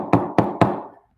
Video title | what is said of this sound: Live Q&A at SKATEYOGI with Kevin - An unexpected accident! - 6/10/20 | can you hear that pretty hard